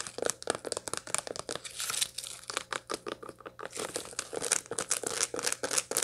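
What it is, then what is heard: Dried sunflower head, seeds dry. Long light-blue nails scratch and tap across the seed face of a large dried sunflower head with its seeds still in place, held up in the air. Quick, dry, crackly scratches and crisp taps follow one another rapidly, each short with almost no ring and a bright, rustling edge.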